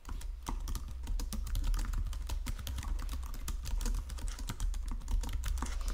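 Fingertips with painted nails type across a full-size white and silver plastic Logitech keyboard with low-profile keys resting on a marble desk. The result is a steady, continuous stream of quick, short clicks and taps with bright key edges over a soft, low thud.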